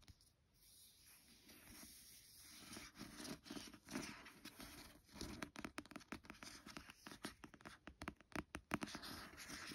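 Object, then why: Glossy card cover of a paperback book. Long nails and fingertips scratch and trace over the glossy card cover of a paperback book lying flat. A quiet, dry, papery scratching starts softly and grows into a run of quick, irregular scrapes and taps with a bright hiss. Each stroke dies away almost at once.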